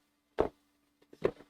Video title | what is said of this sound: MSQC Unboxing December 21-25, 2025 | Rattles like an Amazon box. It's a big box with a little thing.